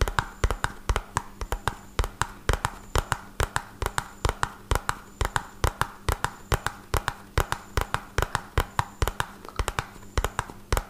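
A small, hollow, red-and-white printed cardboard medicine box is held in one hand and tapped rapidly on its top and sides with the fingertips of the other hand. The result is a fast, uneven run of short, dull, hollow knocks that stop almost instantly, mostly low in tone. A faint steady hum sits underneath.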